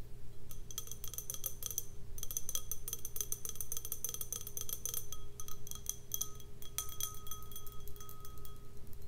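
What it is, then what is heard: Empty glass snifter. An empty, clear, hollow stemmed snifter glass is tapped on its bowl with long red nails, producing a rapid, irregular stream of light clicks with short, bright, high-pitched rings. A steady low hum runs underneath throughout.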